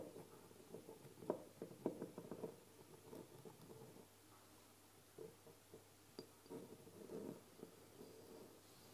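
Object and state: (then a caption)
Amber glass dropper bottle. A medium labeled amber glass oil bottle with a dropper cap stands upright on a table while long painted nails tap its sides slowly. Soft, short clicks with a low glassy tone come in sparse, uneven bursts over a quiet background, and each tap dies away almost at once.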